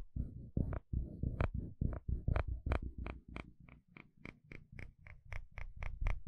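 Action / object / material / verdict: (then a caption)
scrape / plastic fine-tooth comb scraped with a wooden spatula / plastic / none. A wooden spatula scrapes across the fine teeth of a dark blue plastic comb. Each stroke makes a low, buzzy ratcheting rattle that ends in a sharp, bright tick. The strokes repeat in a steady rhythm, growing lighter and more clicky toward the end.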